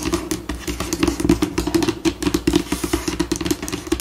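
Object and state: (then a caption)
Laminate table top. Long pink acrylic nails on both hands tap and scratch across a flat white solid laminate tabletop. The result is a rapid, continuous stream of short, dry clicks and scrapes with a steady mid-pitched hard-surface tone and very little ring.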